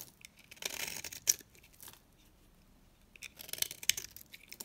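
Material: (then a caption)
Soap. A small, dry, pink rectangular bar of soap, held in the fingers, is shaved with a box-cutter blade into thin curls. Bright, dry scraping and crisp shaving strokes come in two bursts separated by a quiet pause, with sharp little snaps, and almost nothing low in pitch.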